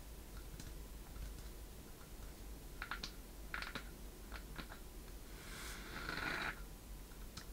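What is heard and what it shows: A small hollow wooden chest with a metal latch and corner fittings is held up in both hands while long painted nails tap and scratch its sides. Light, short clicking taps ring out with a bright, hollow tone near 1.4 kHz, followed by a longer scratching rub, all over a steady low background hum.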